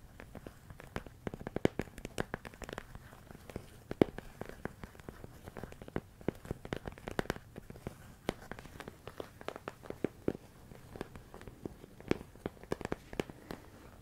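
A medium clear plastic storage container full of rice grains is tapped and scratched with fingertips and nails. The result is a quiet, steady stream of dry, irregular clicks and crinkly scratches, each sharp and dying away at once, with a few louder taps standing out.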